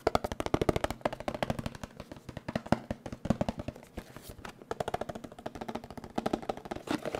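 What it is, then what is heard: Cardboard box tapped with fingertips. A small, hollow, blue printed cardboard box for an HD webcam is held in one hand near the microphone and tapped rapidly with the fingertips. The taps come as a quick, steady run of short, dry, hollow knocks with a low-mid tone that die away almost instantly, sometimes clustering into fast drum-roll-like bursts.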